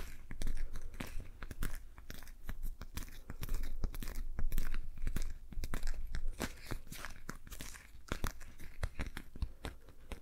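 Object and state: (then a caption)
Rubber dish glove. A patterned rubber dish glove worn on one hand has its gloved fingers rubbed and tapped by the fingertips of the other hand. Many quick, sharp, crunchy taps and squeaky rubbing scrapes come in an uneven, continuous stream. A steady low hum sits underneath.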